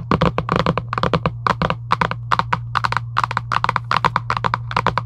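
Long acrylic nails tap quickly and continuously on a hollow Giant UNO cardboard game box lying flat. Each tap is a short, dry knock centered in the midrange with almost no ring. A steady low hum runs underneath throughout.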